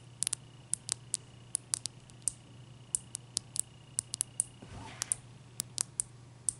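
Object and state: Ice cube tapped with fingernails.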